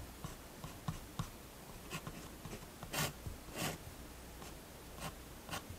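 A fineliner pen makes quick, repeated hatching strokes on a page of a spiral-bound paper sketchbook resting on a wooden table, while the other hand rests on the page. Short, dry scratching strokes with a bright, airy edge come in irregular bursts, a few of them longer and louder, over a faint steady low hum.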